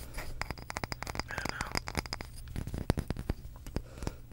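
A small, solid, light wooden block held in the hands is tapped and scratched with long pink acrylic nails. Rapid, sharp, dry clicks mix with brief scratching over a steady low hum. The clicks stop instantly, with no ring.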